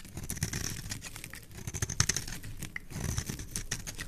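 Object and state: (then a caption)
Bar soap being carved. A metal knife blade scrapes and carves a solid, palm-sized oval bar of green soap held in the hand, shaving curls off its surface. The sound is a dense, quiet run of short, dry scratchy ticks and crinkles with a low, soft body and a bright, hissy edge, each stroke stopping almost at once.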